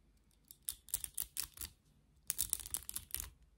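Long nails scratch the bristles of a black plastic vented hairbrush with a rubber-grip handle and hair caught in the bristles. Two bursts of quick, dry, bright clicking and rasping ticks can be heard, separated by a short pause. The sound is quiet, with almost no low end and no ring after each tick.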